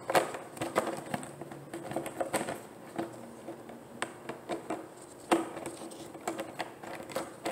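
A large, clear, thin plastic gallon water jug with a handle, hollow and nearly empty, is held and tapped or scratched with long painted nails and fingertips. The result is a quick, irregular series of light, dry clicks and hollow plastic taps with scratchy crackle in between, each tap dying away almost at once.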